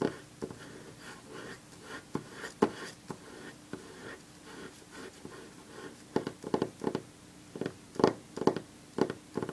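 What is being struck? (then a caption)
Loose paper sheets on a wooden table. Long fingernails on one hand tap a few loose sheets of printed paper lying on a wooden table. The quiet, dry, papery clicks come in an irregular series and cut off almost instantly. The taps grow quicker and clustered in the last few seconds.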